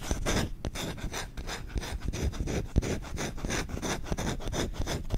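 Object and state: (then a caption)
Wooden spoon being scratched. The back of the bowl of a solid wooden spoon is scratched and rubbed fast with short nails. The result is a rapid, steady run of dry, rasping strokes with a low, muffled body under a bright scratchy hiss, and each stroke is clipped short with no ring.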